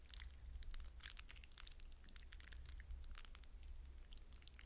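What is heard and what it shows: Fingers dig into a glass bowl of wet blue hydrogel water beads, scooping up a handful and squeezing and rubbing them. This makes a continuous stream of quick, bright, wet squishes and crackly pops over a low, steady hum, all at a quiet level.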